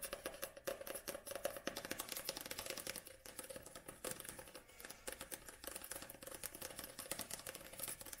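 Long nails tap quickly, like typing, on the black glossy card back cover of a paperback book held tilted with its page edges visible. The result is a fast, continuous stream of short, crisp clicks with a bright top and a faint resonance around 570 Hz, each tap dying away almost instantly.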